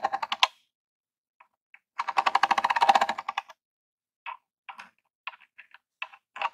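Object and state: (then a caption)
Plastic game console. A long jeweled acrylic nail taps rapidly on the front of a small grey hollow plastic Super Nintendo Classic console. Quick, dry, hollow plastic clicks come in bursts: a short flurry, a dense run of fast taps, then scattered single taps. Each tap is bright and mid-pitched with almost no ring.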